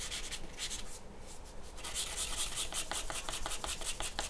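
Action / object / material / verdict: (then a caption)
scrape / graphite pencil on a paper sheet over a wooden table / paper / none. A graphite pencil shades on a large, flat white paper sheet resting on a wooden table. Soft, bright scratching and rubbing strokes pause briefly, then return as a quick, uneven run of repeated strokes.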